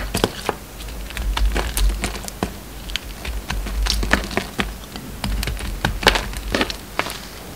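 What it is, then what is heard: Bar of soap being carved. An oval bar of solid soap with a brown rim and a pink and white inside is held in the hand and carved with a metal utility knife blade. Quick, crisp cuts and scrapes crackle out in bright, dry bursts over a steady low hum, each one ending almost at once.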